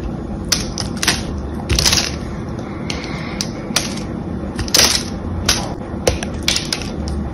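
A solid, cream-colored, palm-sized bar of soap is held in the hands while its pre-cut surface is crushed and broken off with the fingers and nails. Sharp, bright crunching cracks and brittle snaps sound at irregular intervals over a low, steady background rumble.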